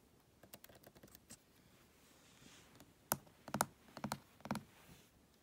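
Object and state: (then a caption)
Laptop keyboard and trackpad. Fingertips type on the plastic keys of a MacBook and press and tap its glass trackpad beside them. A run of quiet, light key clicks in the first second and a half gives way to sharper, louder taps and presses in the second half. Each hit is short and dry with almost no ring.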